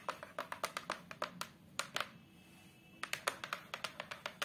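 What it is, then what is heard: Hardboard photo frame backing. Long acrylic nails tap rapidly on the flat, brown fiberboard back panel of a large photo frame, giving 23 short, dry, bright clicks with a hollow tone around 1.2 kHz. The taps come in quick bursts, pause for about a second in the middle, then resume at the same pace.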